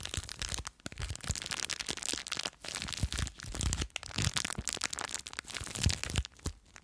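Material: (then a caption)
Plastic. Long nails scratch and crinkle a small clear plastic bag full of blue foam beads. The result is a dense, continuous run of crackly, crunchy rustling with bright highs and some low thumps, pausing briefly now and then.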